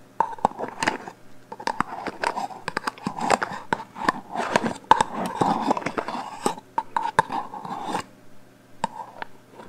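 Long painted fingernails tap and scratch the metal body of a hollow black aerosol hairspray can with a plastic cap, held horizontally. Quick, sharp clicks mix with scratchy scraping and a hollow tone around 900 Hz, over a faint steady low hum. The taps come in irregular bursts, some louder than others, with short quiet gaps.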